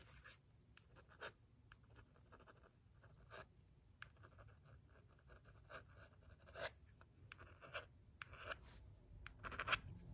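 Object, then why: Small plastic remote control back. A thin wooden stick scratches and taps the back of a small, hollow, black plastic LED remote control held in the hand. Quiet, dry scratching runs throughout, broken by short, bright, clicky taps that stop dead with no ring. The taps grow a little louder toward the end.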